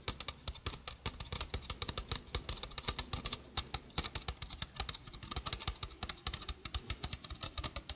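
A small hollow stainless steel mesh sink strainer is held in front of a microphone while long fingernails rapidly tap its mesh and rim. About fifty quick, bright, dry clicks and ticks follow one another with almost no ring, over a faint low thump.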